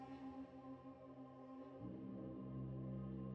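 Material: Nothing is struck.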